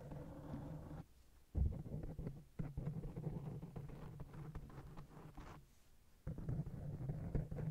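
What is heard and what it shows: Long blue acrylic nails scratch and tap a fist-sized black open-cell foam windscreen covering a hollow microphone head. The result is a deep, muffled rumbling crackle with soft thumping taps, almost entirely low in pitch. Two brief near-silent pauses break up the scratching.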